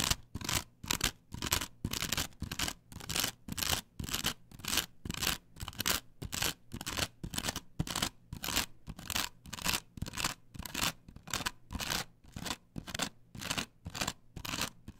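Long pointed nails scratch back and forth across the textured cutouts of a flat, perforated plastic stencil template glued to a wooden board. The result is a steady run of short, bright, rasping strokes, about two per second, each separated by a brief pause.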